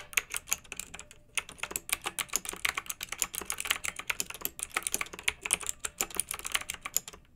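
Two hands type with their fingertips on a pink backlit, typewriter-style plastic mechanical keyboard with round metal-rimmed keycaps. The result is a fast, steady stream of crisp, bright clicks with almost no low end, each one dying away instantly, with a brief pause just after the first second.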